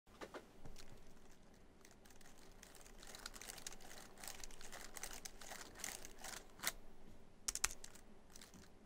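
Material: Plastic.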